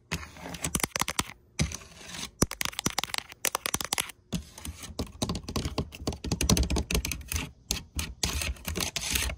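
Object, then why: Brass hinge plates mounted on a wooden chest. Long painted nails tap and scratch quickly on large flower-shaped brass hinge plates, solid flat metal mounted on a red lacquered wooden chest. The result is a rapid, dense run of sharp, dry clicks with almost no ring, mixed with bright scratching.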